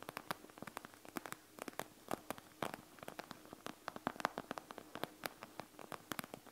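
Long nails rapidly scratch and tap across the bead area of a panda gel bead eye mask, a plastic shell filled with gel beads. About 40 sharp, short clicks and crackles sound in quick succession over a soft rustling hiss, each ticking off brightly with almost no ring.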